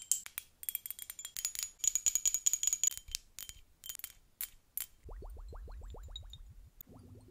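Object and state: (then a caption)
Glass hourglass with liquid, tapped with nails. Long pink acrylic nails tap quickly on a small hand-held hourglass with a clear glass body, partly filled with blue liquid, as it is held up. The taps give sharp, bright clicks with a thin high ring. They then give way to a steady run of short rising tonal glides over a low hum.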